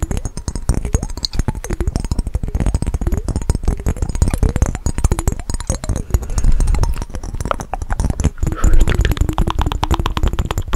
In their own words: 26:40 - fast tapping on mason jar with water